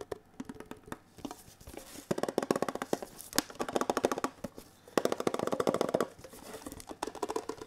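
A small, hollow red-and-white printed Kellogg's Special K metal tin box is held in both hands and tapped rapidly with the fingertips, one hand in a latex glove. Dense bursts of quick, light clicking taps come in clusters with a hollow, mid-pitched tinny tone. Each tap is short and dry with almost no ring.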